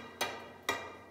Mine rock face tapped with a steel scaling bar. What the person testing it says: you just heard a very sturdy sound so we're good